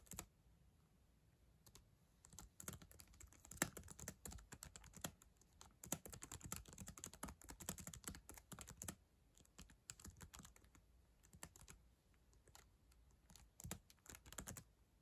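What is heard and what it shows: Long acrylic nails type on the plastic keys of a black ThinkPad laptop keyboard. Quick bursts of sharp, bright clicks and taps come with short pauses between runs. The clacks are dry and die away almost at once.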